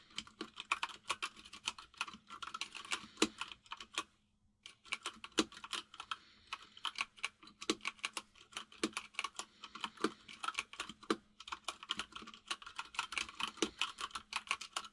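Fingertips of both hands type fast on a full-size mechanical keyboard with white and grey plastic keycaps. Rapid, bright, clicky keystrokes rattle in dense bursts, with each clack dying away almost instantly over a faint steady low hum. The typing stops briefly just after four seconds, then resumes at the same quick pace.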